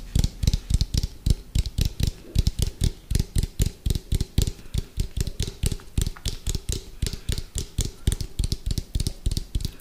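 Fingertips and nails tap rapidly on the side and lid rim of an orange hollow round plastic food container with a white lid, held sideways close to the mic. Around forty quick, distinct taps land with a deep, hollow thump and a faint bright click from the nails, each dying away almost instantly.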